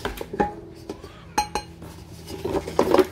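Fingertips tap and rub across the flat metal base on the underside of an empty, roughly 30 cm Baccarat iD3 Black Platinum stainless steel frypan with an embossed dotted logo, held in one hand. Short, dull metallic taps give brief ringing tones around 370 Hz, followed by a busier stretch of scraping and rubbing on the metal.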